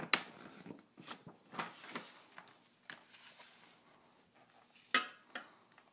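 Fingertips rub and scratch across a large glossy printed fold-out page of a thin paper car magazine lying flat on a table. The result is quiet, bright, dry scratching and rustling, broken by sharp papery ticks that stop almost at once with no ring.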